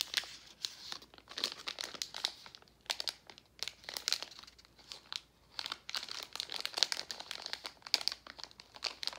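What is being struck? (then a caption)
Metallized plastic candy bag. A gold Werther's metallized foil-plastic candy bag is rubbed, crinkled and turned over by hand. Dense, bright crinkling crackles come in quick bursts with short pauses between handlings, all high and hissy with almost no low end and no ring after each crackle.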